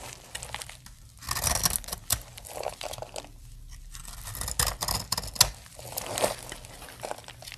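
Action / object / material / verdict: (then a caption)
scrape / bar of soap cut with a knife blade / soap / none. A utility-knife blade scrapes and cuts dry flakes from a solid blue soap bar. The result is a string of crisp, bright scraping and crackling strokes with short, sharp snaps and a faint low thump underneath.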